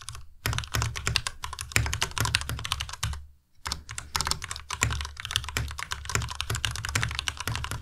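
Fast, continuous fingertip typing on a white compact Ducky Miya Pro mechanical keyboard with plastic keycaps produces a dense stream of sharp clacks with a low, thocky body and bright, crisp tops. A brief pause just after the third second breaks the typing before it resumes at the same steady pace.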